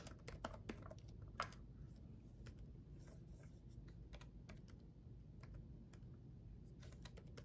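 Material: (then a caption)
Plastic. Fingertips of both hands type on a black gaming laptop keyboard with red backlit plastic keys. Quick, light, bright clicks patter unevenly over a steady low hum, with one sharper tap standing out near the start.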